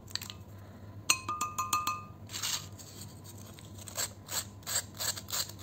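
A red-handled metal vegetable peeler repeatedly scrapes along a thin, curved, dry fried potato chip, small and solid, held in the fingers over a bowl of chips, ending with the chip held lower near the bowl. Sharp, bright clicks with brief high ringing tones come first, followed by a series of rasping, hissy scrapes over a low steady hum.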